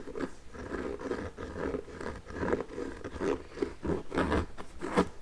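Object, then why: Nubuck leather boot with rubber sole. Long nails tap and knock on the leather upper of an empty pink nubuck leather work boot in a Timberland style, with metal eyelets and a rubber sole. The result is a quiet, steady run of soft, dull taps mixed with light scratchy rubbing, with little high-end brightness.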